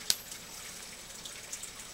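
A copper penny is flicked, giving a bright, high-pitched ping, followed by four fainter ticks, five hits in all. The copper coin rings through the flick, unlike a modern zinc penny, which only gives a dull thud.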